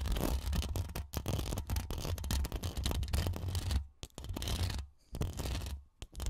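Long acrylic nail tips scratch rapidly across the woven metal mesh grille of a bare, hollow Rode NT1 condenser microphone. The result is a dense, rustling scrape carried on a heavy, boomy low rumble, broken by a few short pauses.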